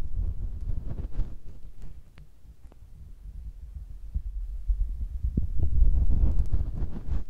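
A fingertip rubs and taps on top of a small, hollow, cylindrical metal microphone capsule with a red ring, mounted on a Tascam recorder. The result is a steady stream of deep, muffled thumps and scratchy rubbing, all heavy low-end rumble with no bright content. It dips quieter in the middle, then grows louder and denser toward the end.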